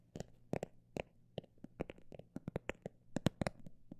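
A textured cosmetic bag is tapped by hand in an irregular rhythm of about sixteen short, quiet taps, some quick and some spaced apart. Each tap is a soft, dull thud with a faint crisp click on top and dies away at once with no ring, over a faint low hum.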